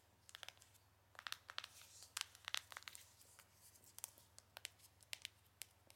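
Long nails tap a small, square, printed cardboard Benefit Gold Rush box, hollow with the product inside. About twenty quick, dry, bright clicks come in irregular clusters with no ring, over a faint steady low hum.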